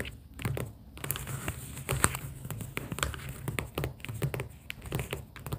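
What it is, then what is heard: Paper sticky-note pad. Long pink acrylic nails tap on stacks of pastel paper sticky-note tabs held in a cardboard booklet. Quick, dry taps and crisp clicks come in an uneven rapid stream over a soft, low papery thump and faint crinkling. Each tap dies away almost instantly.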